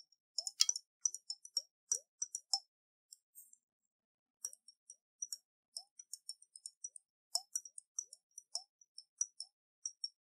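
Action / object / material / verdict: shake / glass jar with water and metal lid / glass / none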